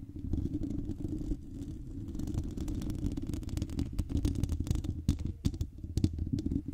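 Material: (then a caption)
Metal mesh. Long nails of both hands scratch across the hollow metal mesh grille of a silver microphone. The result is a dense, low, rumbling scrape with quick clicks that grow sharper and more frequent toward the end.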